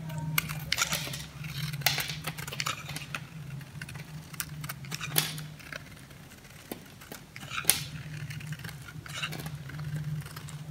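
A hand-sized, solid oval bar of dry soap painted purple, red and white is held in one hand while a metal blade shaves crunchy flakes off its face. Bright, dry scraping and cutting crackles come in uneven bursts with sharp snaps, over a steady low hum.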